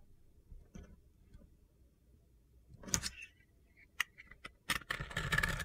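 A metal utility knife blade scrapes and shaves the edge of a palm-sized, solid rectangular bar of dry soap, white inside with a pink and black glitter surface, held in one hand. After a few quiet seconds of low background hum and faint ticks, bright, gritty crunches and sharp clicks break out, then build into a dense, crunchy shaving texture that runs to the end.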